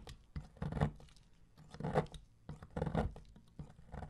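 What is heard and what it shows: A metal blade shaves thin strips from the edge of a solid, dark bronze-colored bar of soap embossed "DURU," held by fingertips. Soft, dull scraping and cutting rasps come in uneven bursts, mostly low and muffled, with quiet pauses between strokes.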